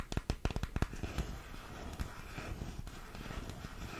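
A small, hollow, colorful printed cardboard makeup box, held in both hands close to the microphone, is tapped with long pink-painted nails. About nine quick, dull, low taps come in the first second, followed by softer, irregular tapping and crackly rustling for the rest of the clip.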